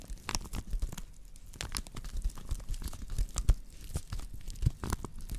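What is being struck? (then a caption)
Woven straw plate. Long nails scratch across the weave on the underside of a round woven straw plate made of natural fiber, held by its rim. The result is a dry, crackly scratching with short tearing, crinkling bursts and bright rasping edges over a quiet low rumble.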